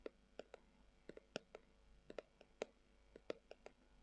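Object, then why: Leather-covered glasses case. Long acrylic nails scratch and tap the surface of a hollow, brown, textured leather-covered tubular glasses case. Fifteen quiet, sharp clicks land at an uneven pace, each with a hollow tone around 480 Hz, a bright edge, and almost no ring, over faint scratching between them.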